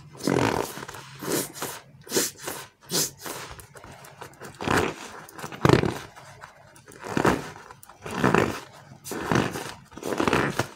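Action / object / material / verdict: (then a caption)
scrape / polyurethane foam frog toy / foam / none. A palm-sized green and white slow-rise polyurethane foam frog, solid foam, is squeezed, pressed and rubbed by bare fingers. Irregular squishy squeaks and rubbing sounds rise and fade in uneven bursts with a low creaky tone.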